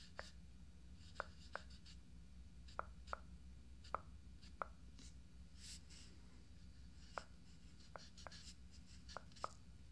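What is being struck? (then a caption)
Fiberglass dummy head. Fingertips tap and scratch around the eye area of a life-size hollow fiberglass binaural dummy head microphone with makeup on its face. Short, sharp, hollow taps with a brief tone around 1.3 kHz are spaced irregularly over soft, bright scratching. The whole clip is quiet, with a steady low hum underneath.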